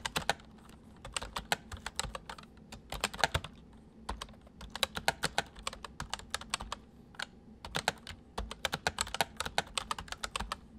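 Fingertips of both hands type on a white full-size MSI plastic mechanical keyboard with hollow keys. Bursts of quick, bright, clacky keystrokes come in rapid runs with short pauses between them, over a faint steady low hum. Each key strike is sharp and dies away almost instantly.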